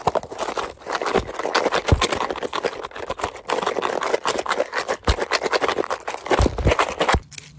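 Fingertips tap and scratch a small orange and black printed cardboard Paslode box held in the hand, possibly holding nail or fuel packs. The result is a dense, fast run of dry, papery taps and rough scratching, mostly in the midrange, with occasional soft low thumps and almost no ring after each touch.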